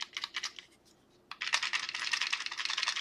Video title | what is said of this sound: Fafnir Fortress/Chained Key Double Feature | if you shake it you can hear there's stuff in here still and there's still three four bolts still in here